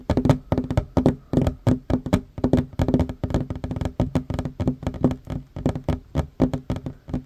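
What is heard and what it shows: Both hands fast-tap a flat, solid wooden tabletop with short fingernails and fingertips in a rapid, uneven run of dry knocks for about seven seconds. Each tap is a short, low woody thud with a crisp click on top that dies away almost at once.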